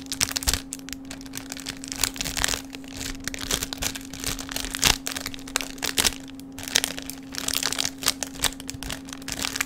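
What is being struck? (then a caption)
Thin plastic bag. A small, thin, mostly empty clear plastic bag is held between both hands and crinkled and squeezed with the fingertips over a table near the microphone. Dense, bright crackling and crinkling comes in uneven bursts throughout, with sharp snaps and no ring-out. A faint steady low hum runs underneath.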